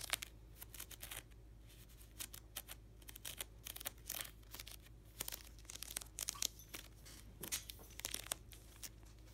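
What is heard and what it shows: Fingertips and short nails scratch and riffle across the stacked edges of clear plastic card-sleeve pages in a black hockey card binder held on its side and packed full. Quick bursts of bright, crinkly plastic scratching and sharp crackles come in irregular clusters over a faint steady low hum.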